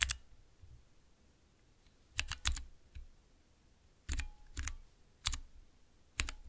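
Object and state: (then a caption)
Plastic mechanical keypad, key presses. Long nails and fingertips press the keys of a small transparent acrylic 9-key mechanical keypad with Cherry MX switches, resting on black cloth. About ten short, sharp clacks come in scattered taps and quick clusters, each pairing a bright high click with a soft low thump. Each one dies away almost instantly, with near silence in between.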